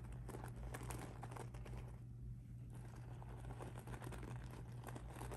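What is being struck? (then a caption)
Rhinestone mesh handbag. Fingertips with blue nails scratch and rub across a pink, sparkly rhinestone mesh handbag lying soft and flat on a table. The result is a quiet, continuous crinkly scratching with fine ticking textures over a steady low hum, easing briefly before picking back up.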